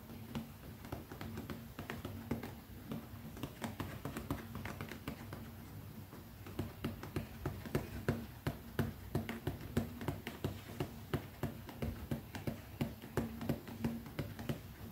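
Long nails tap quickly on the top of a small, closed, black pebbled-leather zippered pouch held flat on one palm. The taps are soft, dull and short with almost no ring, set in the low range and loose in rhythm. They start as a quieter patter, then grow louder and more distinct after about six seconds.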